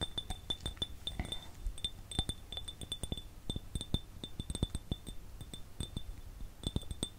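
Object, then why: Empty ridged glass jar. An empty, ridged, clear glass jar is tapped with fingertips and fingernails in a quick, uneven series of light taps. Each tap gives a dull low knock with a bright, high glassy ping that dies away almost at once, while a faint steady high tone lingers under the run of clinks.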